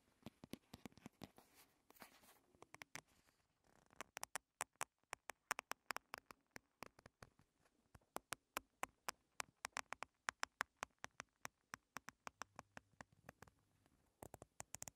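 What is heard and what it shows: Long red nails tap and scratch along a long, slim, printed paperboard box for a primer tube, small, hollow and light, held in both hands. Scratchy rustling opens the clip, then about 60 quick, dry, bright taps follow in a steady patter. Each tap is crisp with no ring, and the overall sound is quiet.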